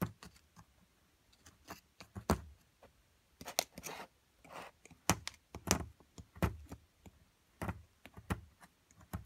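A metal chisel scrapes and chips at a solid plaster excavation block from an amethyst crystal excavation kit. Sharp, dry clicks and taps ring out with short breathy scraping bursts in between, each ending quickly with a dull low body.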